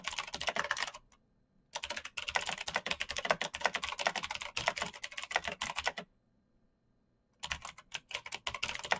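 Bare fingertips type quickly across a full-size black plastic mechanical keyboard with clicky green switches, RGB backlight and a hollow case, resting on a desk mat. Bright, rapid clicks clatter in three bursts, separated by two silent pauses. Each keystroke is sharp and dry, with almost no ring.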